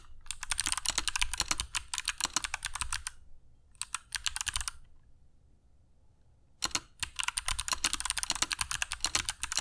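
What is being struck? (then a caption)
Mechanical keyboard with plastic keycaps. Fingertips of both hands type continuously on a compact black mechanical keyboard with dark PBT plastic keycaps and Kailh Box Jade switches, resting on a cork desk mat. Dense, bright, crisp clicks come in rapid bursts with a faint low thump under each keystroke, pausing briefly twice before the typing resumes.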